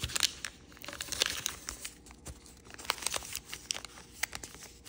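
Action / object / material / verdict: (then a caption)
scrape / origami paper sheet / paper / none. Fingertips and nails crease and rub the folds of a multicolor rainbow origami paper sheet folded into a crane base. The sound is a quiet, bright crinkling and rustling, broken by sharp, crisp snaps and crackles that fade almost instantly.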